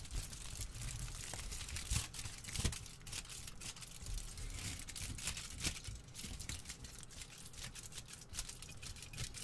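A sheet of thin aluminium kitchen foil, partly balled up and held in the hands, is squeezed and crinkled with the fingertips. The result is a steady, dense crinkling of sharp, bright crackles over a soft low rumble, with a few louder crunches standing out along the way.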